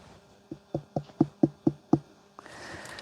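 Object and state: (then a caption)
Ripe pumpkin, hollow knock. A ripe pumpkin still on the vine is knocked with a quick, regular series of short, dull, hollow-sounding knocks. The knocks are low and woody with almost no ring, and a faint hiss follows. The hollow sound indicates the pumpkin is ripe and ready to pick.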